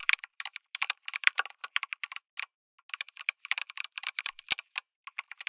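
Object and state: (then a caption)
Mechanical keyboard with plastic keycaps. Fingertips type continuously on a backlit mechanical keyboard with plastic keycaps, an FR4 plate and tactile switches. The result is a rapid run of dry, bright clicks and clacks with almost no low end and no ring, broken by a brief pause near the middle.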